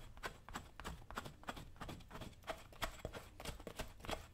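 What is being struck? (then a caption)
Leather work boot scraped with a metal chisel. A dull metal chisel is scraped along the leather upper of a worn brown leather lace-up work boot, held by one hand on a shoe-shine stand. Quick, uneven scraping strokes come about three times a second, each a short, dry burst of rasping noise with a soft low rumble underneath.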